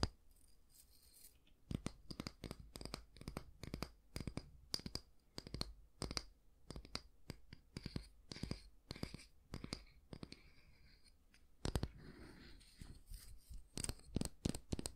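Fingernails scratch the solid wooden back of a small oval wooden bristle hair brush, then move to the bristle side. The clip is a quick series of short, dry scratches and taps with bright, crackly edges and almost no ring. A softer, hissing rustle runs around the middle before the sharp scratches pick up again.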